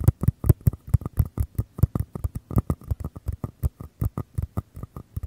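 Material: Paper.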